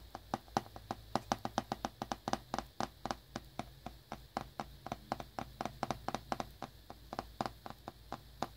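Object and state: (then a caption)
Shrink-wrapped cardboard box. A small, hollow cardboard earbuds box in glossy plastic shrink wrap, held in one hand over a towel, is tapped and lightly scratched with fingertips and short nails. The result is a quick, irregular series of crisp, dry taps with a hollow tone around 800 Hz, each dying out almost instantly, with faint scratchy rustling between them.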